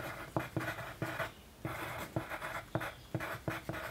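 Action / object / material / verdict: scrape / paper sheet written on with a pencil / paper / none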